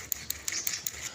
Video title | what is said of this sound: Aktual pagkakuha sa Mutya na lumitaw sa tubig ang Bato,,cp#09480663790 🇵🇭♥️💯 | O, bato talaga oh. ... Tumutunog siya.